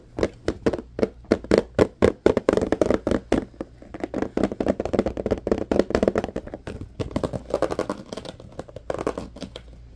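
A medium-size, hollow, clear plastic compartment organizer box that appears empty is held in both hands and tapped and rubbed with the fingertips. Quick, dry, hollow plastic taps come in an uneven stream, with a midrange knock around 465 Hz and a light rubbing texture between them. The taps die away almost instantly.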